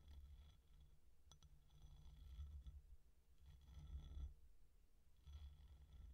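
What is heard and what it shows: An empty white ceramic bowl with a textured outer surface lies tipped on its side while long nails tap and scratch its outside. The result is quiet, low, rumbling scraping in repeated swells, with a brief sharp tick partway through and faint bright hiss above.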